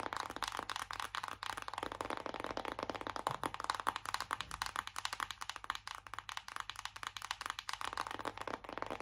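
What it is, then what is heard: Cardboard eyeshadow palette tapped. Long acrylic nails tap quickly on a flat, hollow, closed BH Cosmetics "Take Me Back to Brazil" cardboard eyeshadow palette held up in both hands. The result is a fast, steady stream of short, dry clicks with a hollow, papery tone centered around 1 kHz, plus some brighter edge. Each tap dies away almost instantly.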